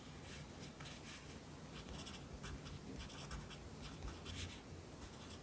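A yellow wooden pencil held in the fingers writes across the page of an open lined paper notebook lying flat on a desk. The graphite scratches on the paper in short, bright, papery strokes over a steady low hum. The sound stays quiet and continuous throughout.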